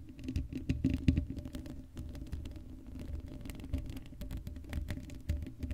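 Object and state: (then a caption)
Metal mesh microphone grille. Long blue acrylic nails on both hands scratch across the hollow black woven metal mesh grille of a Blue Yeti microphone head with no foam cover. The result is a dense, rapid patter of scratchy ticks with a heavy, boomy low-end rumble, brief bright flicks, and a steady faint hum underneath.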